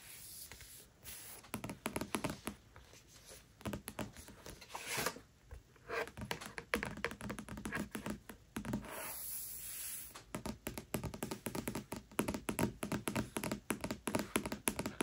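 Long nails tap rapidly on the front board of a solid hardcover book with a floral printed cloth-paper case, its dust jacket removed. The taps are dry, quick clicks with almost no ring and a low-mid body, sometimes running into scratchy bursts. A brief steady rustle sounds partway through.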